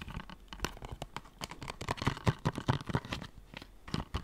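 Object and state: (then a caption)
Plastic game case. A closed blue plastic PS4 game case is tapped and scratched with fingertips and nails. Irregular quick taps and scratchy strokes follow one another, short and dry with a low thud body and faint bright edges, a few louder knocks standing out near the middle and end.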